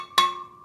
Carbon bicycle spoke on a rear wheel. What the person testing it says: slight difference in the spoke tension on this side